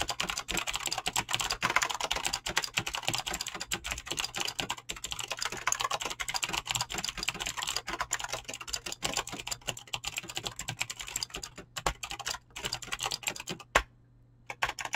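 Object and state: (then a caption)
Mechanical keyboard with clicky switches and PBT keycaps. Fingertips type quickly on a mechanical keyboard with clicky green switches and PBT plastic keycaps. A dense, continuous stream of bright, sharp clicks rattles on with almost no low end. Near the end it stops with one louder clack and a short silence before the typing resumes.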